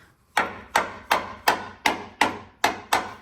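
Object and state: Solid steel vehicle frame, surface rust only.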